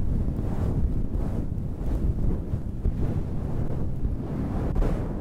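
Long red-painted nails scratch and rub the top of a soft, hollow, dark grey fluffy synthetic-fur windscreen over a microphone. The result is a steady, muffled low rumble and rustle, almost all deep bass, with repeated swelling whooshes as the fur is stroked.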